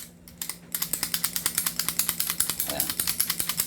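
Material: Plastic.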